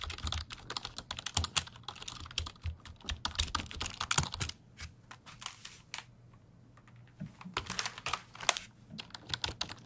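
A black plastic full-size computer keyboard with a hollow body is held upright beside the microphone while fingertips type and tap on its keys. Rapid bursts of sharp, bright plastic clicks with a slight hollow knock come in quick clusters, go quiet for about a second and a half near the middle, then resume. Each click stops almost instantly with no ring.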